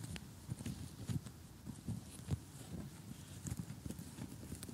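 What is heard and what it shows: Short glittery gel nails of both hands tap on an assembled cardboard jigsaw puzzle with colorful houses lying flat. The result is soft, dull, low-pitched taps at an uneven pace, each with a faint bright click and no ring.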